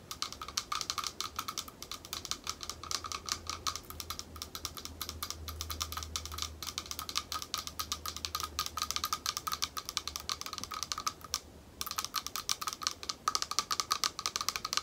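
Long nails tap rapidly and continuously on a small, thick, clear glass bowl, hollow and empty and held at arm's length. The taps are quick, bright clicks with a faint glassy ring around 1.2 kHz over a low steady hum, with a brief pause near the end before the tapping resumes.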